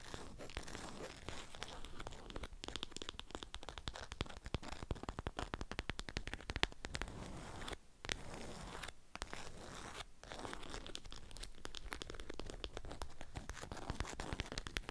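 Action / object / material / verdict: scrape / beeswax-coated cotton wrap over a flat object / waxed cotton / none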